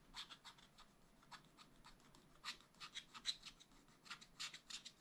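A wooden stylus scratches a black wax-coated scratch-art sheet in a spiral-bound pad. It makes quiet, bright, dry scraping strokes in short, irregular bursts, some louder than others, with almost no low end and no ring after each stroke.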